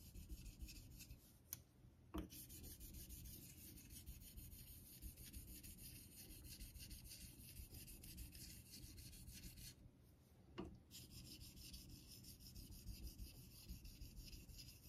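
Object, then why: Steel straight razor on a synthetic water stone. A vintage Geneva Cutlery steel straight razor is honed back and forth across a solid light-blue rectangular synthetic Naniwa water stone clamped over a sink. The result is a steady, continuous scraping rasp with a bright, high hiss over a heavy low rumble. It breaks briefly near 2 seconds and again near 10 seconds, each break marked by a sharp click.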